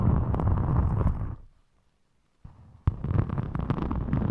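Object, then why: Glitter EVA foam craft sheet. Long chrome-polished nails and fingertips scratch and rub the surface of a thin, flexible rainbow glitter EVA craft foam sheet, about A5 size, held in front of the microphone. The result is a dense, low, rumbling scratchy rustle that fades to near silence for about a second. A faint rub then returns, followed by a sharp tap, and the scratching resumes.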